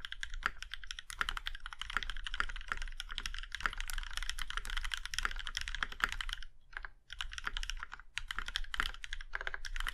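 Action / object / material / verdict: tap / mechanical keyboard with metal case / aluminum / none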